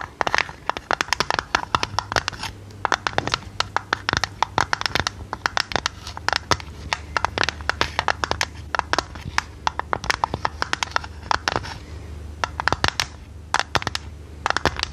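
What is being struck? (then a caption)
Small square printed metal tin. Long red nails rapidly tap and scratch the sides of a hollow, hand-sized, square, printed and decorated metal tin canister. The result is a dense stream of sharp, dry clicks with bright scratchy edges that die away almost at once, over a faint, steady low hum.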